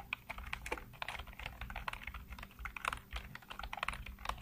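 Fingertips type continuously on a black plastic full-size computer keyboard with hollow keycaps. The result is a quick, uneven stream of short, bright plastic clicks and taps that die away almost instantly, over a faint steady low hum.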